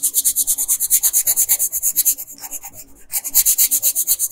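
A red wooden colored pencil scratches across a flat printed paper coloring sheet on a dark desk in dense back-and-forth strokes while coloring in the dress. About 33 quick, bright, dry scratches sound in a steady rhythm, softening briefly near the three-second mark before resuming at full strength.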